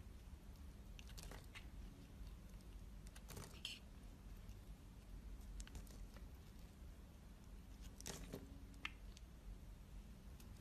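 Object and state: Bar soap being carved.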